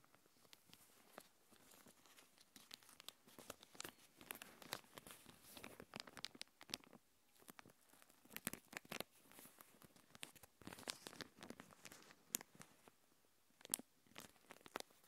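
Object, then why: Thin plastic packaging sheet. A thin translucent plastic packaging sheet is held in both hands, crinkled and stretched, then scratched with long painted nails. Quiet, dense crinkling and crackling fills the clip, with many sharp, bright, short bursts and almost no low end.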